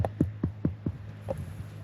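A hand knocks six times on the trunk of a huge water-storing bottle tree on Socotra. Each knock is a dull, low, throbbing thump around 90 Hz that dies away quickly, over a steady low hum, with the last knocks softer.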